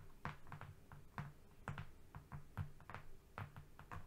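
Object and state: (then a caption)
Flat cardboard sheet. Fingernails from both hands tap and lightly scratch a flat brown cardboard strip lying on a rug. The quiet, dull, low taps come in an irregular rhythm, each dying away almost at once, with a faint papery scratch between them.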